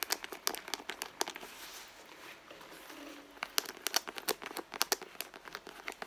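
Long blue nails scratch and rub the pebbled leather of a soft, hollow, medium red handbag, close to its end panel with a small metal logo plate. Bursts of sharp, bright scratching clicks come before and after a quieter stretch of soft, steady rubbing in the middle.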